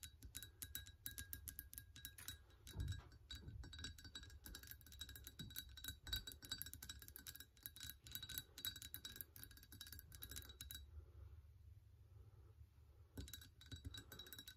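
Long painted nails rapidly tap and scratch the outer wall of a large, empty-looking, hollow ceramic mug with a gingerbread pattern, standing on a counter, while one hand steadies it and may briefly hold a small item at the start. The dense, quick clicks give off short, bright, glassy rings near 3.9 kHz over a low rumble. The tapping eases off around 11 to 13 seconds, then resumes.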